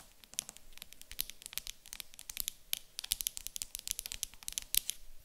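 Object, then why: Small wooden cube. Long acrylic nails tap and scratch the top of a small, light-coloured solid wooden cube standing on a table. The result is a quiet, fast, uneven stream of sharp, bright clicks mixed with light scratching, each tap dying away almost instantly.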